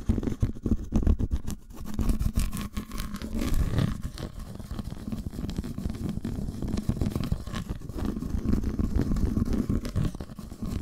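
Long almond-shaped nails tap and scratch the surface of an unwrapped, solid, flat segmented dark chocolate bar held just above a towel. The result is a steady, rapid patter of dull, low taps mixed with soft scratching. Each tap is short and dry with almost no ring, and there is little bright content.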